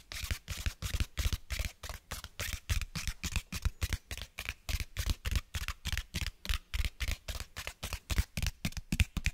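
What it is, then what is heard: Cloth-bound hardcover book. Fingernails scratch and tap the cover and page edges of a closed cloth-bound hardcover book held upright. A rapid, uneven run of dozens of short, dry taps and scratches follows, each with a dull low thump under a brushy hiss and no ring afterward.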